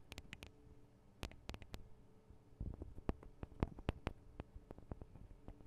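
Long acrylic nails tap rapidly on the small hollow metal microphone capsules and metal guard wings of a Tascam DR-40 recorder. Quick, dry clicks and taps scatter irregularly, each with a low thump and a brief bright snap, over a faint steady hum.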